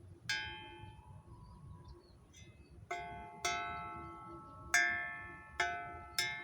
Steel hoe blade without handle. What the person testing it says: yang bagus itu seperti apa ada resonansinya ada bunyinya ya karena kalau sudah dikasih tangkai ini bunyi resonansinya terserap